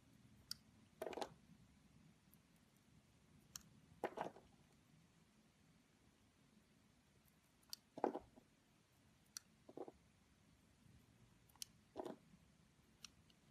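A metal craft-knife blade slices and scrapes concentric layers off a palm-sized, blue heart-shaped bar of layered solid soap with green speckles, held in the fingers. Quiet, brief bursts of crisp scraping and clicking come at irregular intervals, each with sharp, bright transients over low background hiss.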